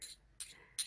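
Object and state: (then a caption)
Hollow-sounding lightweight metal knitting needles. ChiaoGoo metal knitting needles, lighter than KnitPicks nickel needles, are tapped together three times, giving three short, bright, hollow "tung" clicks with quick decay and quiet gaps between. The hollow sound is attributed to the needles being lightweight.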